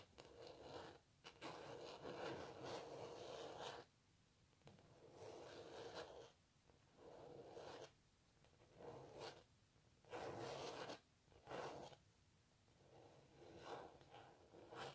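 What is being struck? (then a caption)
Textured painted canvas. Long natural nails scratch and rub across the textured canvas surface of a cellist painting. Dry, raspy scratching comes in repeated bursts of a second or more, separated by short quiet pauses. Each stroke carries a broad hiss with bright edges.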